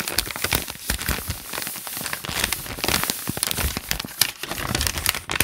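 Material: Paper.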